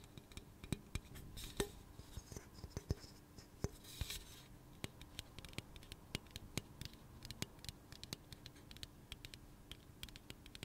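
Long nails tap and scratch along the side of a hollow pink aluminum soda can held in the hand. Quick, sharp ticks come in an irregular stream over a soft, continuous scratching hiss, with a faint metallic tone around 400 Hz. Each tap dies away almost instantly, and a brighter rasping swell of scratching builds and fades around the four-second mark.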